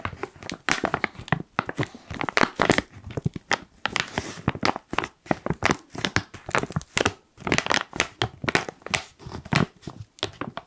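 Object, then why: Foil-lined plastic coffee bag. Fingertips crinkle and squeeze the top edge of a black foil-lined plastic coffee pouch. Dense, dry crackling and crinkling bursts come in quick, irregular runs with brief pauses, bright and broadband, with sharp snaps standing out.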